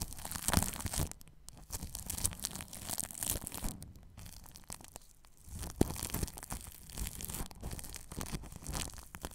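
A paintbrush brushes plastic cling film wrapped over a ball microphone's grille, making dense crinkling, crackling strokes with a heavy low rumble and bright rustling hiss. The brushing continues throughout with a brief quieter stretch around the middle, then picks up again with sharp crackles.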